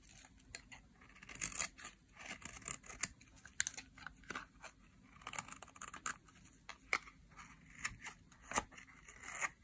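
A utility knife blade scrapes along the surface of a solid bar of dry green soap, shaving off thin slivers. The sound is a quiet run of short, bright, crisp scraping and crunching strokes with almost no low end and little ring. Many separate cuts come in uneven bursts across the clip.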